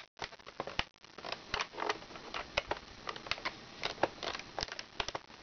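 Long red nails tap on the laminated clock pages and the plastic buttons area of a plastic toy activity book. The result is an irregular series of short, sharp, bright clicks with almost no low end, and soft scratchy rustling between the taps.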